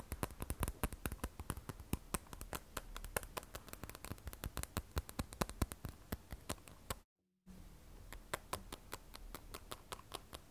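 The frosted glass back of an iPhone 12 Pro, held upright, is tapped with long acrylic nails in a fast run of dozens of sharp, dry clicks with almost no ring. The tapping stops for a half-second of silence near the seven-second mark, then resumes at the same quick pace.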